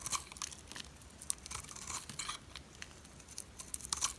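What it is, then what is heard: Dry soap bar shaved with a blade. A metal utility blade shaves a solid, oval, white dry soap bar with an embossed logo. The quiet, bright, crisp scraping and crumbling comes in a rapid string of short bursts, each stopping dead with no ring.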